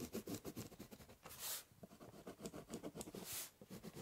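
The tip of a ballpoint pen scratches across a large, hollow, brown corrugated cardboard box while drawing lines. A quick series of short, dry scratching strokes has a hollow, low body, broken by two longer, brighter hissing strokes near the middle and end.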